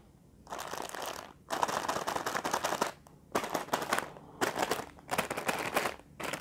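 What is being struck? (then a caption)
Sealed plastic film noodle packet. A single palm-sized, sealed plastic film packet of Indomie Kari Ayam instant noodles, full and unopened with a dry noodle brick inside and lying among other packs, is tapped and scratched with fingertips and short nails. Bursts of crinkly plastic rustling and rapid tapping come in about six separate spells, broken by short quiet gaps.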